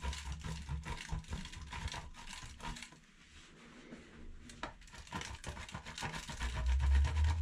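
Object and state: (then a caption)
Bar soap grated on a metal grater. A solid yellow-green bar of soap, held in the fingertips, is rubbed back and forth over the holes of a stainless steel box grater standing in a black bowl of soap shavings. Quick, fairly regular scraping strokes make a dense, bright rasp over a low rumbling thud. The strokes thin out into a quieter stretch midway, then resume and grow louder toward the end.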